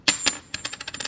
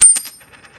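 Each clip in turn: First: A dropped coin strikes twice and chatters to rest with a thin high ring, a clad copper-nickel coin, not silver. Second: A dropped coin gives bright, very high pings that keep ringing, typical of a silver half dollar.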